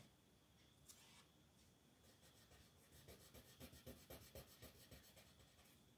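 A yellow colored pencil rubs and scratches across a flat paper coloring book page lying on a wooden table, shading a design while the other hand, with long nails, holds the page flat. Soft, steady papery scratching is heard, turning into quicker, rhythmic back-and-forth strokes with bright rasping edges about halfway through.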